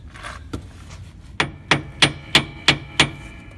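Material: Metal.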